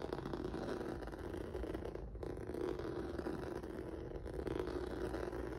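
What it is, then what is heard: Rubber noodle-texture mat being scratched. Fingertips and nails scratch across a flat black rubber or vinyl mat with a textured noodle surface. The result is a steady, dense, scratchy rustle with a low-mid hum around 360 Hz and little high-end, plus a brief dip just after two seconds.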